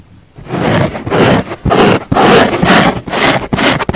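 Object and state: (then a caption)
Foam car sponge being scratched. Long painted nails of both hands scratch a large, flat pink foam car sponge lying on a wooden table, with a lavalier mic resting on the sponge. After a quiet start, close, dry, bright scratching and rubbing comes in repeated bursts of about two strokes per second, with brief pauses between them.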